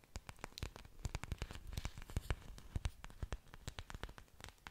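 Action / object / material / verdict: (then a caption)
tap / thick waxy orchid leaves / plant leaf / none. Long dark nails scratch and tap the thick, waxy green leaves of an orchid with exposed aerial roots, held close to the microphone. The result is a quick, dense run of short, dry clicks and scratches, each with a bright top and a soft low thump beneath. There are no long rings between the hits.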